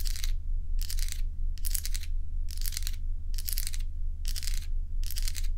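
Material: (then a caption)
Ice. Long fingernails scratch and tap a small stack of solid crescent ice cubes held in the palm of the other hand. Bright, crackly scratching comes in short repeated bursts separated by brief pauses, over a steady low hum.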